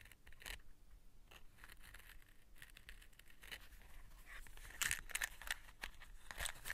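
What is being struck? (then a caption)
Cardboard matchbox. Long nails scratch the label and striker side of a small closed cardboard matchbox held in the hands, and tap on the box. The clip is a quiet series of quick, irregular dry scratches and bright, crisp ticks over a faint low rumble. Sharper, louder taps stand out toward the end.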